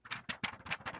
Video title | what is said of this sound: New COMIC BOOK Day - Marvel & DC Comics Unboxing December 14, 2022 - New Comics This Week 12-14-2022 | if you give it a tappy, you can hear that it's just not a substantial cover